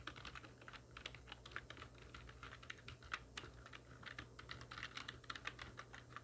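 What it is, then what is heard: Plastic computer keyboard being typed on. A full-size black plastic computer keyboard with hollow keys, resting on a wooden desk, is typed on very rapidly with the long nails and fingertips of both hands. A dense, continuous stream of short, bright, hollow clicks, with occasional sharper taps, sits over a faint steady low hum. Each click dies away almost instantly.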